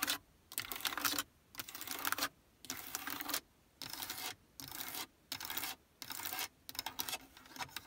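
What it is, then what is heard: Hard plastic car radio panel. Long nails rapidly tap the buttons and faceplate of a Prius's built-in hard plastic car stereo and climate control panel, which has buttons and a knob. Dense, bright plastic clicking comes in short bursts separated by brief silent pauses, with each tap sharp and dry with no ring.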